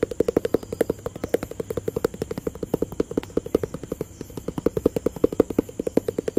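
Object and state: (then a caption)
Cardboard box tapped with fingertips. A hollow, rectangular white, grey and blue cardboard product box is tapped and scratched with fingertips and nails. Dozens of quick, dry, hollow taps follow one another in a steady, rapid patter, each a short midrange knock that dies away almost at once.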